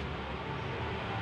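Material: Nothing is struck.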